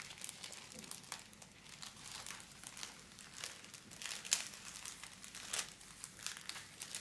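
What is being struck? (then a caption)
Thin metallic foil wrapping film. A large, thin sheet of folded pink holographic metallic foil wrapping film is handled, crinkled and scratched with long black-polished nails and fingertips. Soft, bright crinkling and crackling rustles come in quick irregular bursts with a few sharper crackles, mostly high in pitch with almost no low end.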